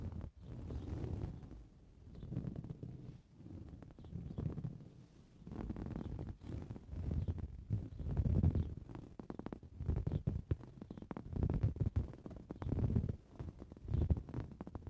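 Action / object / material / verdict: scrape / coarse-weave fabric cushion / woven fabric / none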